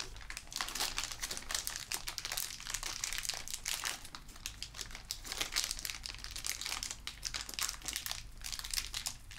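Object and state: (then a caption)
Plastic bag of metal screws. A small clear plastic zip bag labelled A/B, full of metal screws and bolts, is held in the fingertips and crinkled and shaken in front of a black metal desk frame. The result is a steady, bright stream of dense plastic crinkling with many quick rustles and faint clicks, over a low, constant hum.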